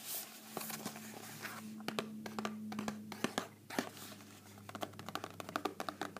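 A small, hollow rectangular cardboard box of Pepero almond sticks, probably still full, is held up in both hands and tapped and scratched with long painted fingernails. Quick, dry clicking taps come in fast irregular bursts over soft scratchy crinkling, with a faint steady low hum underneath.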